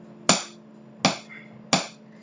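A wooden table is tapped three times with a drumstick. Each tap is a dull knock that fades quickly, with a faint steady hum underneath.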